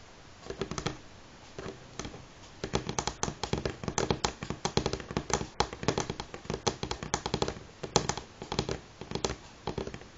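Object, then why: Wooden table tapped with fingernails. Fingernails tap on a wooden table at varying speeds, making short, dry clicks with a hollow mid-range knock. The taps come in bursts, from a few scattered ones to quick rolling runs, and each dies away almost at once.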